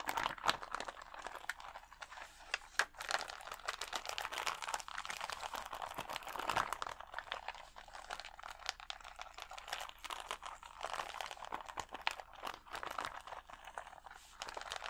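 Fingertips scratch the lower rows of gems on a clear plastic sticker sheet of acrylic rhinestones held against the chest. The result is a steady stream of quick, dry clicks and crinkly scratches, centered in the mids around 1.7 kHz with some bright edge. Each tick stops almost instantly, with little low end.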